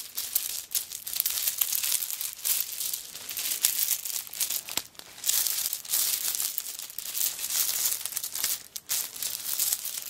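Long nails scratch and scrape the coconut shell chips covering a handbag held up in the air. The result is a dense, bright, crinkly scraping with almost no low end, continuing nonstop for about ten seconds apart from brief pauses near the 5- and 9-second marks.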